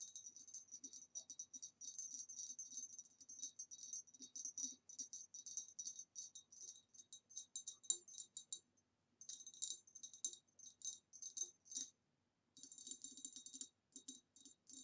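Long nails tap rapidly on the neck and rim of an upright, hollow, empty ribbed green glass retro vase. The result is dozens of quick, bright, glassy clicks with almost no ring, falling into short bursts broken by brief pauses.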